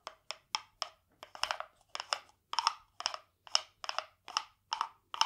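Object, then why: Carved hollow wooden frog guiro played with a wooden stick. A small hollow carved wooden frog guiro, painted glossy green with a ridged back, is held in one hand and rubbed and tapped along its ridges with a green wooden stick. It makes a steady series of short, dry, bright rasping clicks with a hollow woody knock and almost no ring.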